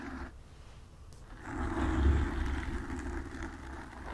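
Long nails rapidly scratch the sides of a black foam windscreen on a desk microphone. The result is a dense, low, rumbling scrape with a warm rustle that swells to its loudest around the middle, then eases off while staying continuous.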